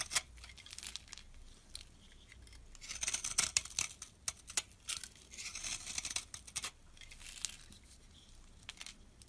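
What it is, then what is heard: Soap bar scraped with a blade. A metal blade scrapes crumbly shavings off a solid brown bar of soap, like laundry soap, held in the palm. The scraping comes in bright, dry, crackly bursts of rasping strokes with almost no low end. Each stroke dies away instantly.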